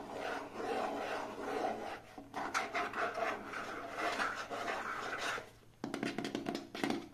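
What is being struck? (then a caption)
Hollow plastic case. Fingertips and short nails rub and scratch an elongated, hand-length green translucent hollow plastic case that appears empty. The result is a continuous dry, raspy scratching with a brief dip just after 2 seconds and a short pause near 5.7 seconds. Faster, sharper scratch strokes follow to the end.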